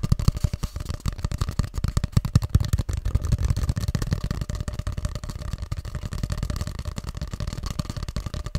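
Fingertips tap rapidly along the length of a long, hollow grey cardboard tube held upright and then horizontally. The result is a dense stream of short, low, hollow thumps with a resonant tone, fading quickly after each tap.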